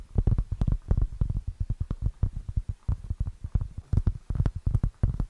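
Long nails scratch and tap the rough surface of a round, flat, solid plate-sized cork board held close to the mic. The result is a quick, uneven run of about 29 dull, low, thuddy taps, each dying away almost instantly, with faint scratchy texture between them.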